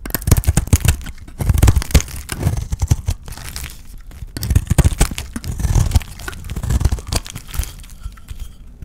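A solid, dry white soap bar painted with blue glitter is held in the hand and shaved and scraped with a utility knife blade. Dense, dry crackling and crunching scrapes come in uneven bursts, with short quieter gaps between strokes.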